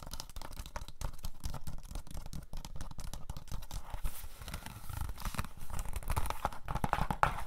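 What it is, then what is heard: Plastic DVD case. Pink fingernails tap quickly on the front cover of a hollow plastic DVD case for Cabin Fever. The result is a dense, steady stream of short, dry clicks and knocks, mostly low-weighted, with a faint crinkly texture and almost no ring after each tap.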